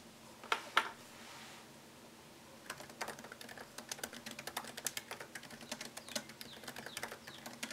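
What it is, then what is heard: Laptop keyboard typing. Fingertips type on a MacBook Pro laptop keyboard with plastic keycaps set in an aluminium body. Two sharper, louder key clicks come at the start, followed by a brief quiet pause with faint hiss. Then a steady run of quick, slightly irregular, crisp and bright taps, each dying away almost at once.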